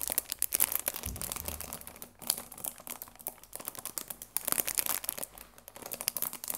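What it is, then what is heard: Cellophane-wrapped cardboard tea box. Flat fingers rub and stroke the cellophane wrap on a cardboard tea box, making soft, dense, bright crinkling and crackling that rises and falls in quick bursts. There are brief quieter gaps between the rustling passages.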